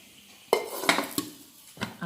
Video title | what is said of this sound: Homemade popcorn recipe in just 3 minutes / homemade popcorn in cooker | നമ്മളിങ്ങനെ കുലുക്കുമ്പോൾ അത് കിലുങ്ങുന്ന സൗണ്ട് കേൾക്കുമല്ലോ. അങ്ങനെ കിലുങ്ങുന്ന സൗണ്ട് കേട്ടില്ലെങ്കിൽ എല്ലാ ഇതും പോപ്കോൺ ആയി എന്നാണ് അർത്ഥം.